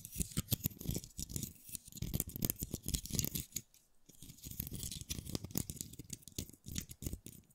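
A single dry brown pine cone, fist-sized and solid with open woody scales, is held in one hand close to the microphones while the fingertips and nails of the other hand flick and scratch along its scales. Dense, dry clicks and scratchy crackles with a bright, crisp edge pour out in quick bursts. There is a brief pause just before the four-second mark before the flicking resumes.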